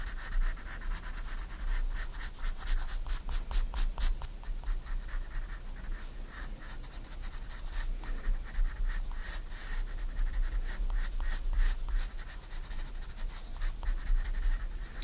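A 4B pencil rubs shading strokes across a white paper sketchbook page lying flat. Quick, dry scratching strokes come in rapid, uneven bursts with bright, hissy grain, over a steady low hum throughout.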